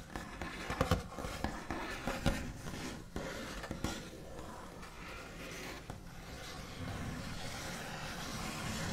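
The backs of long fingernails on both hands tap and trace across a flat, solid wooden tabletop with a white finish. Short, dry taps stand out over a continuous scratchy, rustling scrape. The sound stays low-heavy, with quick taps that die away almost at once and a steady brushing texture beneath.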